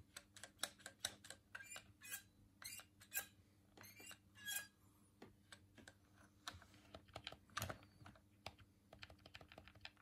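A hollow white plastic Dreamcast controller is held in both hands while the thumbs repeatedly press and click its colored face buttons. The result is a quiet, irregular run of short, sharp, bright plastic clicks, some bunched into brief rattling bursts, each dying away almost instantly over a faint low hum.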